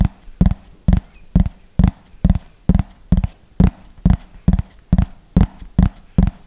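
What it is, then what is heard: Plastic frisbee tapped with fingernails. Fingernails tap the top surface of a thin, hollow yellow plastic frisbee held upright, in a slow, steady rhythm of about two taps per second. Each tap is a short, dull, low knock that dies away almost at once.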